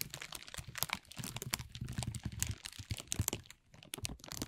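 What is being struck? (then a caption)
Thin plastic film bag. A thin, transparent plastic film bag is gathered and crumpled in both hands, making dense, continuous crinkling. Sharp, bright crackles ride over a low rustling bed, easing briefly to a quieter moment before the crumpling picks up again.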